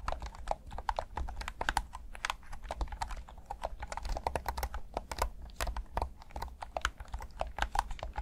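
Thumbs click the buttons and sticks of a black plastic PS5 DualSense controller, hand-sized and hollow, in a steady run of quick, dry plastic clicks and taps. Each click is short and sharp, with a mid-range knock and brief bright edges over a low, steady hum.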